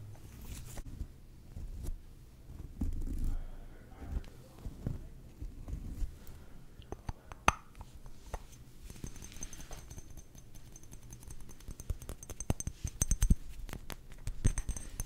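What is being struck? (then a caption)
Faceted glass perfume bottle with a plastic cap. Fingernails tap on the sides and purple cap of a faceted glass perfume bottle with a flower label, held close to the microphone. The taps come as quiet, dense clicks over a soft low rumble, with sharper glassy ticks standing out now and then and a faint high ring appearing in the later taps.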